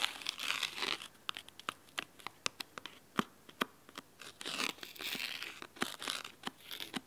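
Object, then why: Cloth-covered hardcover book. Fingernails scratch the cloth corner of the spine and the cover edge of a large, thick, red fabric-covered hardcover book held at an angle. Bright, dry scratching passages alternate with quick, crisp clicks and ticks from the nails catching the solid cloth-bound edges, and each sound stops almost instantly with no ringing.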